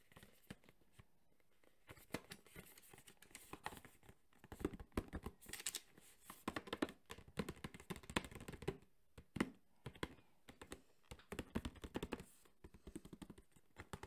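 Fingertips tap quickly on a hollow, printed cardboard box for a JBL Flip 5 speaker held in the other hand. The result is bursts of rapid, dry, hollow taps with a little papery rustle, broken by brief pauses. The taps are quiet, short and dull, with almost no ring.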